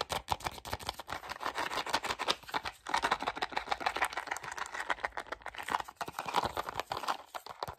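A small, hollow, closed white printed cardboard Simply Gum box is held in both hands and tapped and clicked quickly with fingertips and short nails. The result is a dense, continuous stream of dry, papery taps and clicks centered in the midrange and reaching up into bright tones, with almost no low end. Each click dies away almost instantly, with brief dips in the pace.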